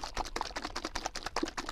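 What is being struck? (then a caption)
Plastic bottle of liquid polish. A plastic bottle of Novus No. 2 liquid polish is shaken hard before being used on a 1/32 scale Porsche 356 Speedster model car body. It makes a rapid series of short sloshing, rattling clacks, about 13 quick beats in under two seconds.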